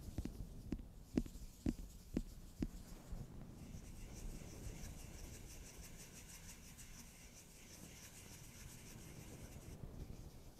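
Fingers tap five times on the textured back of a holographic glitter-foil cardboard eyeshadow palette cover held in the hand, each tap giving a short, soft knock. Then they settle into a steady, quiet rubbing and scratching across the surface, making a soft, bright, papery hiss over a low rumble until the end.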